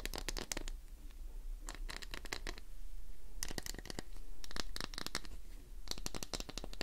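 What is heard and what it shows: Long nails scratch quickly along the surface of a solid green glycerin soap bar held in one hand. The clip is a dense run of short, bright scratching strokes in bursts, separated by brief pauses, over a steady low hum.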